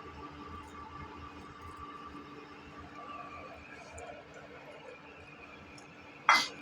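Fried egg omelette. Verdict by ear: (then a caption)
Crispy. A fried egg omelette, fried and pressed to squeeze out the oil, gives a single sharp, bright crunch near the end of the clip after a stretch of low steady background noise. The short crackle fades quickly, and the omelette is very crispy.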